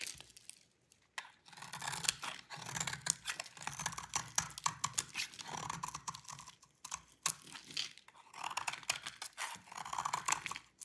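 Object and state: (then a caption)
Dry soap bar being scraped. A utility knife blade scrapes crumbly shavings off a solid white rectangular bar of dry soap held in the hand. Dry, crisp, bright scraping and crackling come in short bursts, separated by brief pauses, each stroke ending abruptly with almost no ring.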